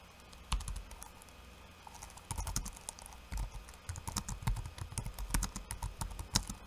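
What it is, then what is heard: Plastic laptop keyboard. Fingertips of one hand type on a backlit laptop keyboard with plastic keycaps, giving steady runs of short, dry key taps. Each tap has a soft low thud under a bright click and dies away almost at once. A brief tap comes early, then a quiet pause, then typing resumes in uneven bursts to the end.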